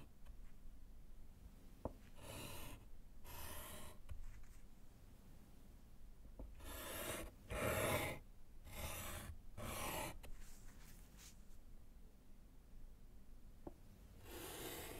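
A gloved hand writes with yellow chalk on a small solid slate board set in a wooden frame. Bursts of bright, gritty scratching come from each chalk stroke, broken up by short pauses and a few sharp little taps of the chalk against the slate.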